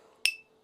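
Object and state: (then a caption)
Ringing carbon-fiber composite turbine wheel. A 3D-printed turbine wheel made of PPS carbon fiber is flicked once and gives a bright, metallic ring. The ring has a main pitch near 2.6 kHz with higher overtones and fades within about a fifth of a second.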